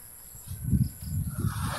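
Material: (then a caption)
Coconut. A mature coconut is shaken, and the water inside sloshes in low, muffled gulping pulses. The sound shows the coconut is ready for making coconut milk.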